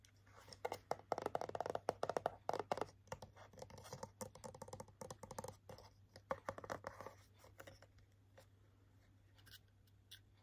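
Short nails tap and scratch a clear plastic blister on hair clip packaging with a holographic cardboard backing card. The sound is a dense run of quick, crinkly taps and scratches that are strongest in the first three seconds, then thin out into softer, scattered clicks. A faint steady low hum sits underneath throughout.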